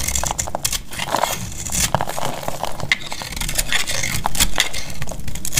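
A metal utility-knife blade carves a solid, cream-colored bar of dried soap held in the hand. A steady run of crisp, crackling scrapes and bright snaps is heard over a low rumble as crisp shavings fall off the bar.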